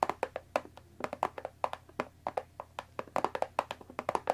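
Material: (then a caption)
Cardboard. Long dark nails tap the top edge of a closed Earl Grey tea box of thin printed cardboard, about 20 cm long and likely full of tea bags, resting on a wooden table. About 25 quick, dry, papery taps come in an irregular rhythm. Each has a mid-pitched hollow knock near 770 Hz that dies away almost instantly.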